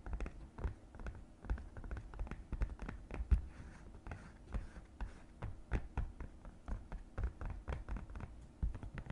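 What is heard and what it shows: Long red nails tap and scratch inside the small raised compartment of an empty green silicone divided suction placemat. The result is a quiet, irregular run of soft, dull, low thuds and muffled scratches that stop almost instantly with no ring.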